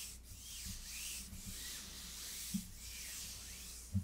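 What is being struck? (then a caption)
Synthetic leather tablet cover. Fingertips and long nails rub and scratch across a closed rose-gold faux leather folio cover of an iPad lying flat. A soft, continuous scratchy hiss with bright, sweeping strokes is heard, broken by a couple of brief low taps near the end.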